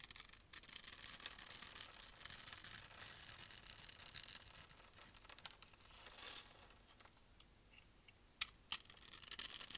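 A blade with a red handle scrapes across a dark brown dry bar soap held in the hand, crumbling its grid-carved surface into small cubes. The sound is a dense, bright, high-pitched scratchy crackle for the first few seconds, then thins to a softer rustle with a few sharp clicks. Heavier scraping returns at the end.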